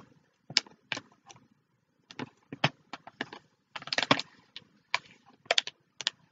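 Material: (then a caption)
Plastic, paper. Long fingernails tap and scratch the surface of a clear plastic bag holding flat paper notebooks or cards, held flat in both hands. Irregular bursts of bright, crinkly plastic rustle and sharp clicky taps die away almost instantly, separated by brief silences.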